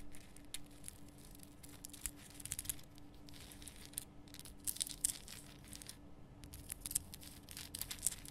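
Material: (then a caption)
Rock salt. Long painted nails scratch and tap the rough crystal surface of a large, lit, pink Himalayan rock salt lamp made of solid rough salt. Quiet, bright, crackly scratching comes in short bursts with sharp little taps over a steady low hum. The taps die away almost instantly.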